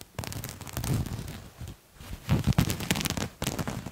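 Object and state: Fabric garment scratched.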